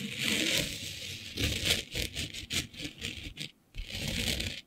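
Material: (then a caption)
Glitter fabric. Long nails scratch across a flat sheet of black fabric covered in fine green glitter. The result is a bright, hissy scraping with a rustling texture, coming in irregular bursts that break briefly into near silence before the scratching resumes.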